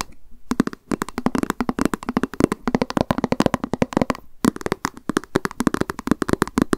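Long nails tap quickly on a small, hollow white plastic lunch box with a cat print, held in the hands. Dozens of rapid, dry clicks come in quick bursts with brief pauses, each with a hollow, mid-low body around 300 Hz and almost no ring.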